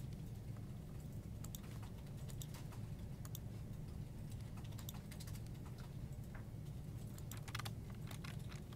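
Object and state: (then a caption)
Plastic computer keyboard. One hand types with its fingertips on a full-size black plastic desktop keyboard with hollow keycaps, producing a continuous run of quick, bright key clicks and taps. Beneath the typing sits a steady low hum that stays level throughout.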